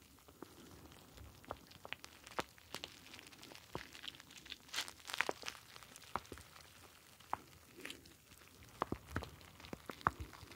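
A star-shaped clear plastic ice pack filled with blue gel beads is squeezed with fingertips close to the mic. It makes soft, irregular plastic crinkles and sharp little clicks and crackles that stand out as bright snaps over a quiet, hushed background. A denser burst of crunching comes around the middle.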